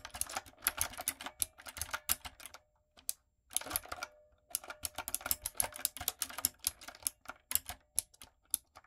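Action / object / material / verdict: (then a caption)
tap / mechanical keyboard with plastic keycaps / plastic / none. Long nails and fingertips type on a retro typewriter-style backlit mechanical keyboard with round plastic keycaps. Quick bursts of bright, sharp clicks and clacks are broken by brief pauses, during which a faint steady hum can be heard.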